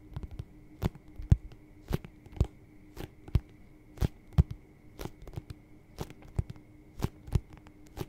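An empty, hollow white leather lace-up boot with a yellow-stitched rubber sole is held sideways close to a microphone and tapped and scratched with fingertips and nails on its leather side panel. The result is a string of short, dull, low taps and soft scratching crackles at an irregular pace, over a faint steady hum.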